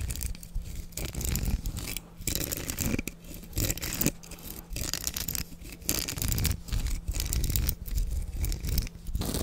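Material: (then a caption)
Plastic. Fingertips brush and scratch over the plastic bristles of a black plastic hairbrush with a perforated back. Close, bristly scratching and crackling comes in bursts separated by brief pauses, with a steady low hum underneath.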